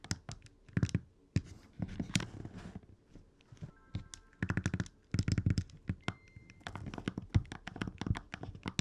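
Fingertips press and click the D-pad and A/B buttons on an open red Game Boy Advance SP, a small hollow plastic handheld. The result is rapid bursts of short, dull plastic clicks and soft thunks, mostly low in pitch, with quick decay and brief pauses between clusters.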